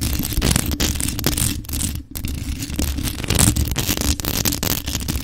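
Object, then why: Rhinestone-decorated metal microphone with mesh grille. Long acrylic nails on both hands tap and scratch a hollow, grey metal USB desktop microphone decorated with rhinestones, working over its jeweled body and mesh grille. The result is a dense, continuous stream of scratchy clicks and rubbing over a heavy low rumble, with a brief dip in the middle before the scratching picks back up.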